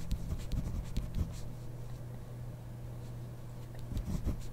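A ballpoint pen writes on the grid paper of a spiral notebook while the other hand rests on the page, its tip scratching the paper in short, soft, dry strokes. The strokes come in brief bursts with faint bright edges, over a steady low hum that runs underneath throughout.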